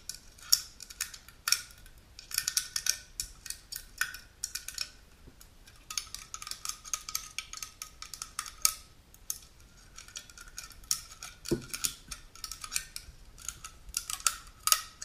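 Long pink nails scratch and tap the top lid of a small unopened aluminum juice can, near the pull tab and the rim. The result is a quick, irregular stream of bright metallic clicks and scratchy bursts with a faint ring around 1.3 kHz, each tap dying away almost instantly.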